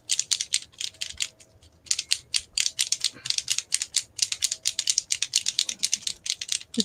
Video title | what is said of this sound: Gelli Printing with Barbara Clark | you have to shake it until you hear the ball